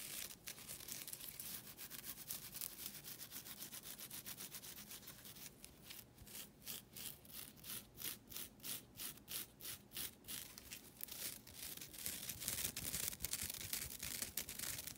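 Long nails scratch and rub the edge and face of a thin, solid, flat green nylon scouring pad. The result is a dry, bright, raspy scratching made of quick strokes, at about 200 per minute. The strokes settle into a steady back-and-forth rhythm in the middle of the clip before turning denser and rougher again.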